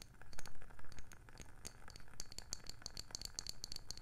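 A round, palm-sized, hollow wooden candle lid is tapped rapidly with long nails. The taps come in a quick, uneven rattle of short, dry clicks with a low woody knock. Louder hits open the clip, and bright, sharp clicking dominates the second half.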